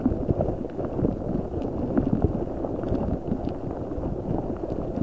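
A large translucent rubber spiky ball filled with gel water beads is squeezed and rubbed with fingertips over a microphone. It makes a dense, continuous, wet squishing and crackling sound with small pops, concentrated in the low and low-mid range with almost no bright content, at a steady level throughout.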